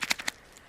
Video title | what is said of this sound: Schrade SCHF36 REVIEW FIRST IMPRESSIONS | loose the knife is. You shake it around. You hear it.